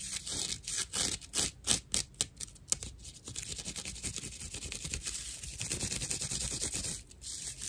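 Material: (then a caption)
Plant fiber. Long nails scratch and rub the fibers of a dry cross-section of natural loofah, a fibrous plant material with hollow chambers. Quick, uneven bursts of rough, bright scraping come first, then settle into a steadier, continuous hissy rubbing with a short dip near the end.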